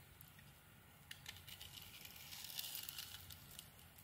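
A metal blade carves grooves into a solid rectangular white soap bar with a pink glitter coating and shaves off curls. It makes quiet, bright, crisp scraping and crinkling over a faint low hum, growing denser and louder through the middle before easing off.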